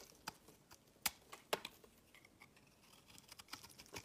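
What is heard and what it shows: A solid green rounded bar of soap, held in the fingers, is carved and scraped with a metal blade, with shavings falling onto a woven mat. About 13 quiet, short, bright scraping clicks come at an uneven pace, each dying away almost instantly. Faint softer scratches fill the gaps between them.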